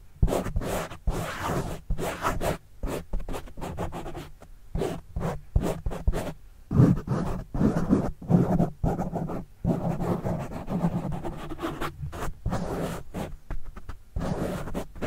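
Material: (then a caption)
Foam. Fingertips scratch a black foam windscreen on a microphone. The result is a fast, uneven run of muffled, scratchy rubbing bursts with short silent gaps between them. The sound is heavy in the low range with little high sound.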